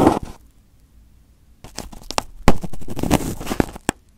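Fingers pick, pinch and peel at crumpled aluminium foil wrapped over a microphone head. A brief crinkle opens the clip, then a pause of near silence, then dense crinkling and tearing with sharp, close-up snaps. The sound fades quickly to quiet at the end.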